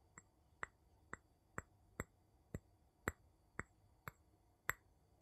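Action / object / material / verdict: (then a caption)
tap / small glass jar tapped with a wooden handle / glass / none. The tip of a wooden scoop handle taps the bottom and side of a small, empty, clear glass jar with a metal lid, held upside down. Eleven quiet, sharp glassy clinks come at a slightly uneven pace, each with a bright ping near 2 kHz and high overtones that die away almost at once.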